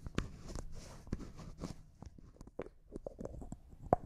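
Fingernails tap a small, hollow, clear cosmetic jar that looks like glass and appears empty, hitting both the jar and its white plastic lid, and the lid is twisted. Quiet, soft clicks and dry scraping rustles come in a loose, uneven series with almost no ring. A louder, sharper tap near the end gives a brief mid-pitched ping.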